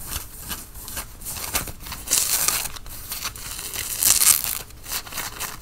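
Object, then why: Cotton fleece sweatshirt. Fingernails scratch the chest and logo tape of a worn grey Nike cotton fleece sweatshirt. The result is dry, bright, crinkly scratching that comes in rapid rubbing strokes, with louder, brighter bursts around two and four seconds in.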